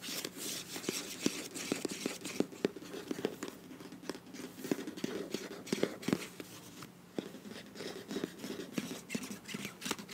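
Long nails scratch along the flat sealed end and sides of a filled beige plastic face wash tube with a bronze cap. The sound is a steady, dry scratching with bright, hissy texture and many quick clicky ticks over a soft, hollow low-mid body. It stays fairly quiet throughout.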